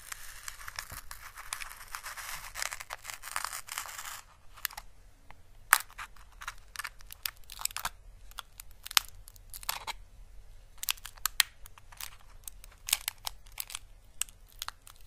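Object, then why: Dried papery Chinese lantern (physalis) husk. A small, orange, dried Chinese lantern (physalis) husk, papery and hollow, is held by its stem and pressed and rubbed with the fingertips on fabric. It makes about four seconds of dense, bright crinkling and rustling, then gives way to sparse, irregular, sharp crackles and soft ticks. A faint low hum runs steadily underneath.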